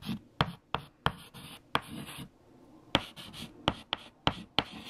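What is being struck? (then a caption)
White chalk on a flat chalkboard. Fingertips hold a piece of white chalk and write equations on a large, flat black chalkboard. Nine sharp, bright taps ring out as the chalk strikes the board, separated by dry, scratchy strokes across its surface. A short quiet pause falls in the middle of the writing.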